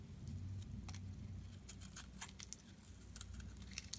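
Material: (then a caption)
Soap. A solid rectangular light-blue bar of soap is held in the hand while its edge is shaved with a metal box-cutter blade, peeling off curls and flakes. Quiet, crisp scraping ticks and bright, brief crackles repeat over a steady low rumble.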